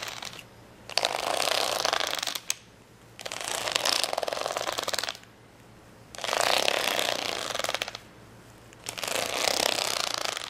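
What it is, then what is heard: Plastic rhinestone sticker sheet. Long nails scratch along the gem rows on the fold of a folded plastic rhinestone sticker sheet resting on a towel. Four bursts of dense, bright, crackling scratching come in turn, each about two seconds long, with short quiet gaps between them and a sharp click at the end of the first.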